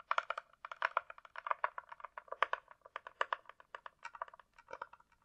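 Long nails tap quickly across the top and sides of a closed, hollow hard-shell glasses case with a glossy coated, likely plastic shell. About thirty dry, clicky taps come in an uneven rhythm, centered in the mid range around 1.2 kHz with almost no low end. Each tap dies away almost instantly.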